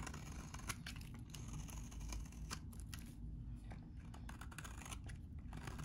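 A metal utility blade scrapes and cuts into a solid, hand-sized yellow bar of very dry vintage soap, shaving off crumbly flakes. Quiet, steady scraping carries a low rumble, broken by rapid, dry crunching clicks that flash bright and die away almost instantly.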